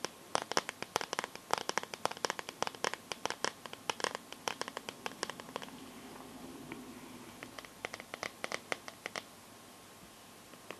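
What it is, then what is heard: Plastic phone case scratched and tapped with nails. Long nails scratch and tap the back of a smartphone in a clear pink plastic glitter case, making dense, crisp clicks and scrapes with bright high edges and almost no low end. The sharp ticks come in quick bursts, ease into a softer scraping stretch around the middle, then return as sparser clicks that fade out near the end.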